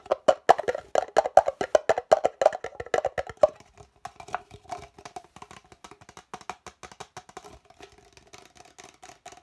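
An empty, hollow red plastic party cup with a white interior, held close in the hands, is tapped and scratched fast with the fingertips and nails. The result is a rapid run of short, dry, hollow knocks with a mid pitch of about 770 Hz and light scratchy clicks between them. The tapping is loudest for the first three and a half seconds, then continues more softly.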